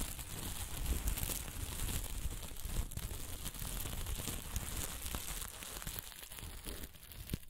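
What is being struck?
Plastic sequin fabric.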